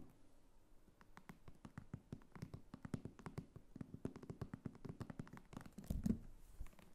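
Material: Faux leather.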